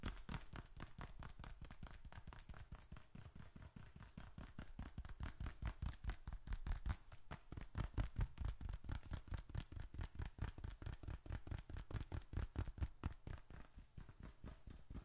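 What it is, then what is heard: Leather wallet. Fingertips tap and scratch the surface and edges of a small, folded burgundy leather bifold wallet held in one hand, with bills and receipts inside that may add a faint paper sound. A rapid, uneven run of short, dull, low thumps continues throughout, with little high-end content and almost no ring after each tap.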